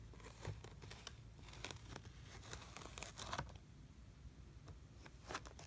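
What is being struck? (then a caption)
Kinetic sand in a plastic tray. A small teal plastic tool is drawn through flattened brown kinetic sand in a blue plastic tray, scraping and cutting straight lines. Soft, crinkly scraping passes and brief bright ticks sit over a steady low rumble at a quiet level.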